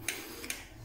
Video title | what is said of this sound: TAGIHAN LISTRIK BISA BENGKAK! Pompa air salah satu sumber masalahnya | ini kan yang sudah bermasalah seperti ini suaranya. Ini udah air semua.